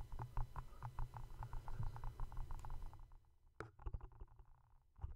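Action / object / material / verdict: tap / small cardboard gift box / cardboard / none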